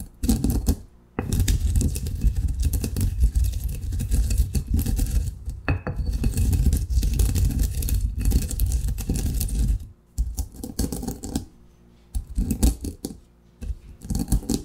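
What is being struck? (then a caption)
Coffee beans in a granite mortar and pestle. A granite pestle pounds and grinds partly crushed coffee beans in a large, solid granite mortar. Heavy, low thuds mix with gritty crunching and scraping in long continuous bursts, broken by short silent pauses as the beans break down.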